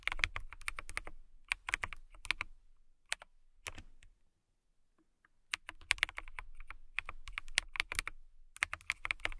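Long nails tap and type on a transparent acrylic mechanical keyboard with clear keycaps, producing quick, bright, clicky keystrokes with short thocks underneath. The typing comes in rapid bursts, falls almost silent for about a second and a half midway, then resumes in steady runs.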